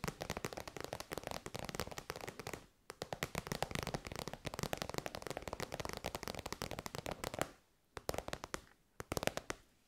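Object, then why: Synthetic faux-leather pouch. Long white nails tap rapidly on an elongated, shiny pink metallic faux-leather pouch that is soft and hollow. The quick, crisp taps run in dense, crackly bursts, with short pauses near 3 and 8 seconds.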